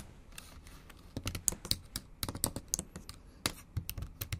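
Long acrylic nails type on the plastic keys of a bare, backlit MacBook Pro keyboard. About 16 sharp, bright clicks and taps land in an uneven rhythm, each dying away almost instantly over a soft low thud. The effect is quiet and crisp.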